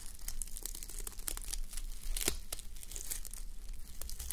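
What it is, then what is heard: Sequin sleep mask. Fingertips and long nails scratch and brush a fabric sleep mask covered in plastic reversible sequins, resting on a white mannequin head. A dense run of crisp, bright sequin scratches and clicks comes over a steady low hum throughout.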